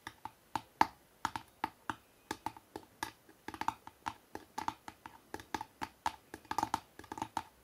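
Fingertips and nails tap quickly on the front cover of a hardcover book with a city photo, lying flat. The sound is a rapid, uneven series of dry, short clicks with a light mid-pitched knock around 900 Hz, each dying away almost instantly, with little low end or high brightness and a few taps landing in quick bursts.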